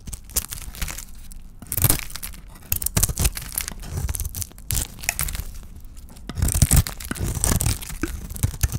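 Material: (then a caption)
Soap. A palm-sized solid oval bar of dry white soap with a red painted shell is held in the hand and shaved with a small metal blade. Each stroke gives a dry, crisp scraping and crumbly tearing sound in quick, uneven bursts, with bright hiss and a low rumble underneath.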